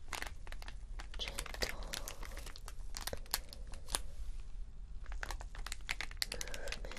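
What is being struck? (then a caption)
Acrylic rhinestone strip on plastic backing. Fingernails scratch across a long strip of small acrylic rhinestones on a clear backing, lying on fabric. The result is a dense run of bright, crinkly clicks and sharp ticks over a steady low background hum.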